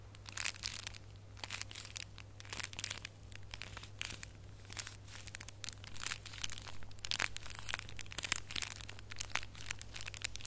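A small red holographic foil gift box ornament is held in both hands while fingertips and nails scratch and squeeze it. Dense, crunchy crinkling bursts with bright high hiss come in rapid clusters over a steady low hum throughout.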